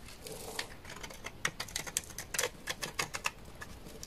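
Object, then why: Bar of laundry soap cut with a knife. A knife blade repeatedly scrapes a solid bar of dry white laundry soap, shaving off white curls. Each pass makes a short, crisp, bright scratch with a quick dry crackle, and the sound dies away almost at once over a faint steady hiss.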